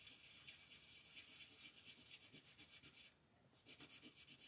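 A green colored pencil shades a thin printed paper coloring book page lying flat on a dark table, held down by fingertips with long painted nails, in short back-and-forth strokes. The strokes make a soft, bright, scratchy rasping in a steady rhythm, with a brief quieter pause before the scratching resumes.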